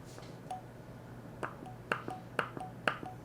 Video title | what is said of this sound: Kitchen Day: Pressure Canning Baked Beans with recipe | it's Hollow these did not seal